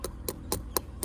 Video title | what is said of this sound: ทุเรียนสุกแล้วจะมีเสียงอย่างไร คลิปนี้มีคำตอบ | แบบนี้ยังไม่สุกซะทีเดียวนะครับยังไม่สุก